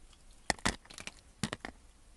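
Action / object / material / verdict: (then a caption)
scrape / bar of soap / soap / none. A utility knife blade cuts cubes off a solid green bar of soap that has been scored into cubes and is held in the hand. It makes a series of short, crisp cracking and crunching snaps with bright edges, separated by quiet pauses.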